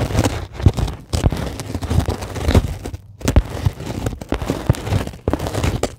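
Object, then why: Polyethylene foam sheet. A flat, solid, white closed-cell polyethylene foam sheet is scratched with long glittery acrylic nails. The result is a dense run of soft, low scratching and crackling strokes with short gaps and very little ring.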